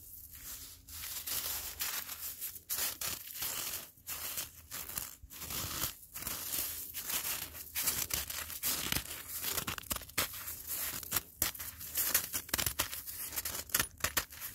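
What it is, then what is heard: Icy granular snow surface. A black-gloved hand claws and scratches through coarse, icy granular snow covering the ground, snow that has turned to ice. Many bright, crunchy scraping and crackling bursts follow one another with brief pauses, dominated by high-frequency hiss and little low end.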